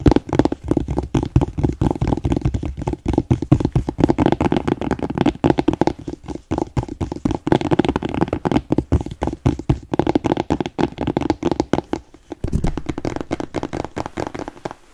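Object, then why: Leather boot toe cap. A smooth black leather boot, empty and held toe-up in both hands, is tapped and scratched with fingertips and nails on the toe cap. The result is a rapid, continuous patter of dull, muffled taps with scratchy rustling underneath. The sound is mostly low in pitch and dies away instantly, with brief lulls near 6 and 12 seconds.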